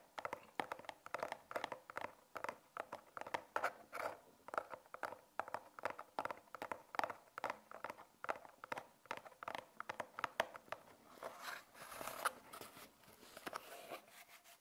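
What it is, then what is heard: Cardboard box. Long nails scratch and tap the top and edges of a small, closed brown cardboard box with a label, held in both hands. The result is a quiet, steady run of rapid, dry taps and papery scratches, centred in the midrange with almost no low end. Each sound dies away instantly, with brief brighter scraping bursts near the end.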